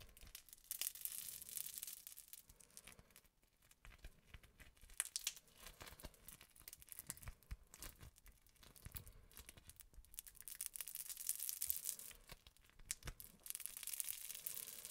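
Green and yellow crunchy foam-bead slime is stretched into strands, then squished and folded between fingers as the soft mass is held in both hands. A dense, bright crackling and popping runs almost continuously, with brief quieter lulls near 3 seconds and 12.5 seconds.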